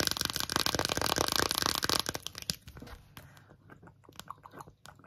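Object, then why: Silicone phone case with raised relief. Long acrylic nails tap and scratch an empty rainbow 3D silicone phone case with colorful raised hearts. Dense, fast, crunchy scratching and tapping fills the first two seconds. It then thins into sparser, softer, irregular taps.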